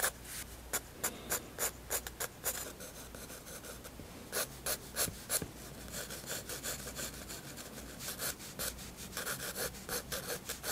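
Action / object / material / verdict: scrape / graphite pencil on a paper sketchbook page / paper / none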